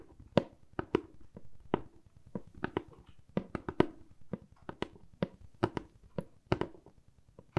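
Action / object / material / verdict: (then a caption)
tap / corrugated cardboard box / cardboard / none. A medium brown corrugated cardboard box, hollow and held in one hand, is tapped and scratched with long acrylic nails. About 21 quick, dry taps land at an uneven pace, each with a sharp, bright click and a short, hollow thud that dies away almost at once. Soft scratching rustles fill the gaps between the taps.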